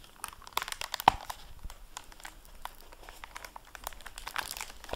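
Fingertips handle the plastic-covered dust jacket flap of a hardcover library book lying open on a table. Dense, strong crinkling runs throughout, with one sharp, louder crackle about a second in and bright, brittle plastic textures above a quiet background.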